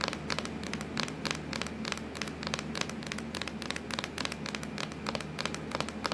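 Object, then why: Plastic laptop lid. Long acrylic nails tap and scratch across a hollow, black, textured plastic laptop lid. Quick, bright clicks come in a steady stream over a faint low hum, and each tap dies away almost at once.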